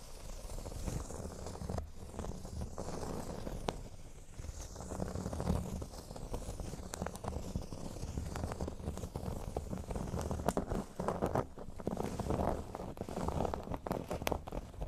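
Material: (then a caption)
Cork. Short nails on both hands scratch the surface of a large, flat, solid cork board shaped like a speech bubble. The result is a steady, soft, crackly scraping texture, heavy in the low end, with quick dry clicks scattered throughout.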